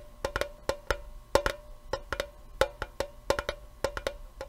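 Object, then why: Small metal tea tin with lid. A small, hollow, rectangular printed metal tea tin with a lid is held in the hands and tapped with the fingertips and nails. Eighteen quick, dry, hollow taps sound in an uneven rhythm, each with a clear tone around 550 Hz. Each tap dies away almost at once.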